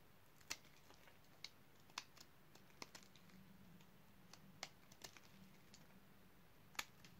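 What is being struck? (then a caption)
Bar of soap cut with a blade. A utility knife blade carves the surface of a solid, dark purple dry bar soap. The cuts make sharp, dry, crisp clicks and snaps with bright highlights, scattered unevenly over a quiet, low hum.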